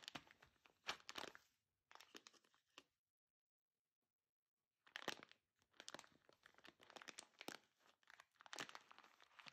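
Long dark-painted nails and fingertips tap, scratch and press a large Lavazza Qualità Oro coffee bag of shiny gold metallized foil, apparently full of beans, lying on a grey surface. Quiet, bright crinkling and crunching come in dense bursts of rapid taps and scrapes. A silent pause of about two seconds falls midway before the crinkling resumes.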